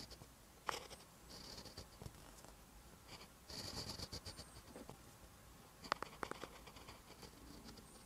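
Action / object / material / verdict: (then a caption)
scrape / ballpoint pen on lined paper notebook page / paper / none. A ballpoint pen tip writes on a lined paper notebook page resting on a desk, making continuous scratching handwriting strokes. Soft, papery scraping comes in bursts with a bright hiss, broken by several sharper ticks where the pen taps or lifts.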